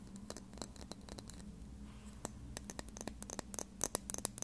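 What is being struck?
Small plastic lip gloss tube.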